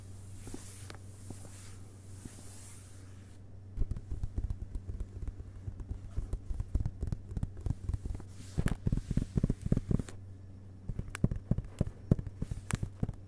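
A hardcover book lying on a carpet has its inner cloth- or paper-covered cardboard cover board and first blank page tapped by fingertips and fingerpads; the board is flat and solid. After a few seconds of quiet hiss, soft, dull, rapid taps start, with no ring and a steady low hum underneath. The taps pause briefly near the end, then resume.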